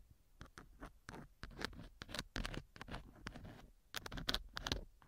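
A thin wooden or bamboo earpick scratches and rubs inside a small, solid silicone model ear mounted as the left ear of a binaural microphone. Dry, close-up scratching bursts come in a quick, irregular series, each short and crisp with bright, high rasps and a soft low thump.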